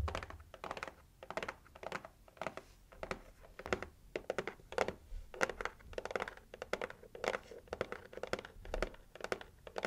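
Long acrylic nails tap rapidly on the lid of a pink heart-shaped cardboard gift box. The result is a quick, uneven run of short, dry, hollow taps with a papery scratch and almost no ring.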